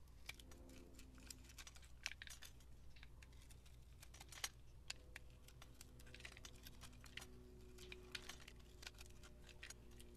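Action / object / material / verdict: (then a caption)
scrape / bar of soap / soap / none. A utility knife blade scores a solid, hand-sized bar of orange translucent soap with gold glitter, held in the hand, in a grid and scrapes off small cubes. Dozens of quick, crisp, bright clicks and scratchy scrapes come in a steady, uneven patter over a low, constant hum, with no ringing after each cut.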